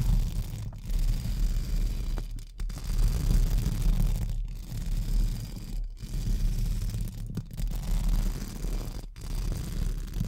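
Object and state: Metal mesh microphone grille brushed.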